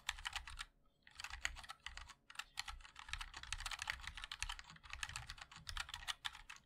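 A 60% mechanical keyboard with a black aluminium case, white and black ABS plastic keycaps and linear switches is typed on continuously with the fingertips of both hands. The result is a fast stream of bright, crisp clicks and taps with a light low thud beneath, broken by one brief pause near the start.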